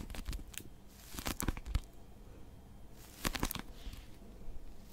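Long nails grip and scratch the cover of a small blue Oxford pocket dictionary, a solid paper book. Bursts of dry, crinkly scraping and short sharp ticks come in clusters, with quiet pauses between them, over a low, soft rumble.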